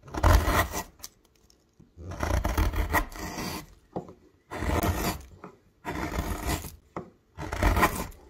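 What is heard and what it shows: A wide metal gouge, pushed by the thumb, carves a hollow in a solid myrtle wood blank and lifts a curled shaving. The sound is a series of rough, rasping scrapes separated by short pauses, with some quick small scrapes in between. Each stroke has a heavy low body and a broad, hissy texture that stops dry with almost no ring.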